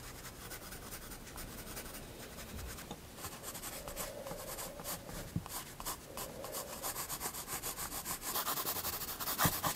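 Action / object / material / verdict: scrape / graphite pencil on paper sketchbook page / paper / none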